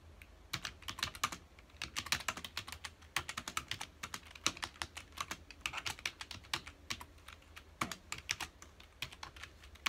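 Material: Plastic.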